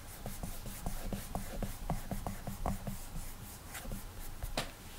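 An index fingertip rubs short strokes across the glass touchscreen of an iPad, making a quick series of soft, dry squeaks and rubs with a low hum-like tone. Occasional brighter swishes stand out toward the end.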